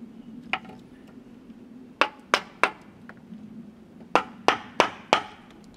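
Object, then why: Steel chisel struck by wooden mallet into cedar log. A wooden mallet drives a steel chisel into the cut face of a large solid cedar log with bark, resting on a wooden sawhorse. Eight sharp, dry knocks land in an uneven rhythm: one alone, then a quick group of three, then four. Each is a bright, woody crack that dies away almost at once over a faint steady low hum.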